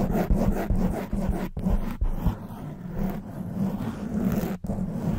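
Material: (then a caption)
Foam. Long white nails scratch fast on both sides of a hollow black foam windscreen covering a silver condenser microphone. The result is a dense, muffled, low-heavy rustling and scraping with a steady buzzing tone underneath, broken by brief silent dropouts.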